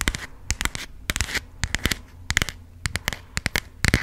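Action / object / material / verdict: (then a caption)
tap / passport booklet with plastic-coated cover / coated plastic / none. A small, closed burgundy passport booklet with a textured plastic-coated cover is held up and tapped and scratched with long pink acrylic nails. The result is a quick, irregular series of crisp, bright clicks and short scratchy bursts that stop dead, over a faint steady low hum.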